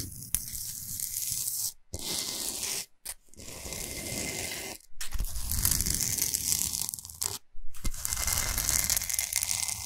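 Long nails scratch fast across a large, solid, flat Himalayan salt slab. The scratching is a dense, rough rasp with bright hiss and a low rumble, running in bursts with a few brief pauses between strokes.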